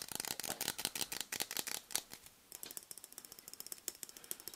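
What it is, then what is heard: Aerosol shaving foam can with plastic cap. A green Schick ShaveGuard aerosol shaving foam can, a cylindrical metal can topped by a plastic cap, is held in one hand while fingernails scratch and tap the can and cap. The result is a quick, uneven run of dry, bright ratchet-like clicks with almost no low end and very short ring. A brief pause falls in the middle before a second run of sharper, more even ticks.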